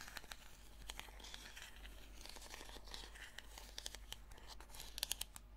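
Long fingernails scratch the sides and ribbed lid of a small purple plastic slime tub. The result is dry, raspy scratching with crisp, bright clicks and ticks scattered through it over a steady low hum. Several sharper clicks land near the end.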